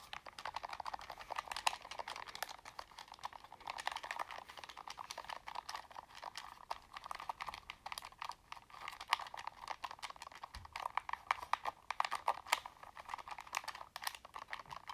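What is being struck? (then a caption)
Plastic game controller. A black plastic Sony PlayStation controller, held in both hands, is tapped with fingertips and nails while its buttons are pressed. The result is a quiet, continuous stream of quick, dry plastic clicks and taps centered in the midrange with bright edges and almost no low end.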